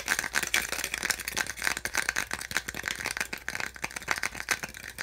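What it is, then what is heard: Plastic packaging insert (tapped and scratched). A small, hollow, white molded-plastic insert from a phone or handset box, with ridged slots, is held in the hands while fingertips and nails rapidly tap and scratch its ribs. The result is a dense, dry rattle of sharp clicks with a bright, hollow plastic tone near 1.9 kHz and almost no low end. Each tap dies away almost instantly.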